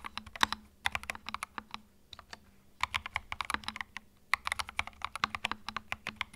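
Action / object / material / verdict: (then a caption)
tap / plastic mechanical keyboard / plastic / none. Fingertips type in bursts on a small white 65% mechanical keyboard with plastic keycaps and a hollow plastic case, resting on a felt mat. It makes quick, bright, clacky key clicks with almost no ring and little low end. Brief pauses come between the runs of typing.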